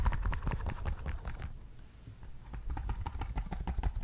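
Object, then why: Silicone pop-it bubble toy. Fingertips and nails press, pop and tap the hollow bubbles of a large, thin, flexible rainbow silicone pop-it bubble fidget board held close to the mic. The result is a quick, uneven run of soft, muffled pops and taps with a deep thud. The tapping eases into a quieter stretch midway, then picks up again.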